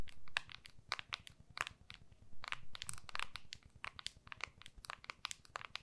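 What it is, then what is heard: Smartphone in clear plastic case. Long nails tap and scratch the back of a small, solid iPhone in a clear plastic case, held upright in both hands. A rapid, uneven run of sharp, bright clicks with quick scratchy crinkles sits over a soft low rumble, each tap dying away almost instantly.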